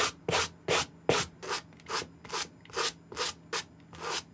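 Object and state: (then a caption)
Suede sneaker being brushed. A white suede brush scrubs the side and heel of a dry green Nike SB Air suede sneaker held in the hand, in rapid back-and-forth strokes. Each stroke makes a bright, hissy, scratchy rasp, and the strokes come in a steady rhythm of short bursts. A faint low hum sits underneath.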